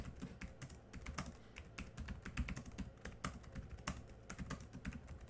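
Both hands type quickly with their fingertips on a laptop keyboard with black plastic keys. The result is a fast, steady stream of short, dry taps, each a bright click over a soft low thud that dies away almost instantly.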